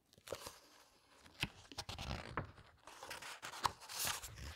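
Long red nails and fingertips rub, squeeze and turn the glossy illustrated paper pages of a large, thick hardcover book. The result is quiet, bright crinkling and rustling, broken up by sharp paper crackles and soft low flutters as each page moves.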